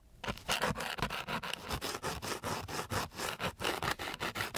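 A flat wooden stick is rubbed back and forth over a flat, gritty sheet of coarse sandpaper. It makes a fast series of harsh, dry scratching strokes with a bright, rasping texture. Each stroke cuts off quickly into brief pauses.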